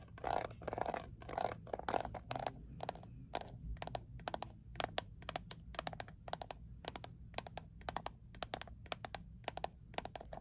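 Long nails tap and scratch quickly on the lid and sides of a small, closed, hollow Altoids mint tin made of thin metal. Dry, bright clicks and scrapes, each with a faint ring centred near 650 Hz, come at an uneven pace of about two per second over a steady low hum.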